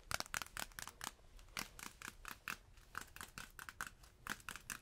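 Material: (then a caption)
Waxed cloth. A thin, stiff, yellow beeswax-coated cloth food wrap is held up close to the mic and crinkled, scratched and tapped with the fingers. The result is a quiet, rapid series of short, dry crackles and taps with bright, papery highs centred around 1.4 kHz. Each sound dies away almost instantly.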